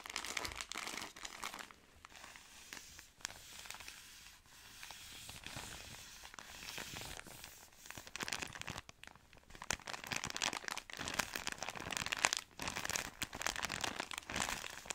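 Long nails scratch and squeeze a long, soft product pack in a thin plastic wrapper, making dense, bright crinkling and crackling with little low end. The rustling is softer through the first half and grows louder and busier from about eight seconds on.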